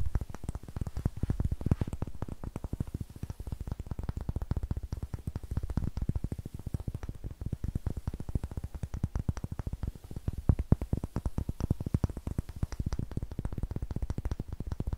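Long fingernails tap and scratch rapidly across the faces and edges of a solid, light wooden block whose end grain faces the mic. The result is a dense, continuous stream of dry, dull clicks that are heavy in the low end and die away almost instantly.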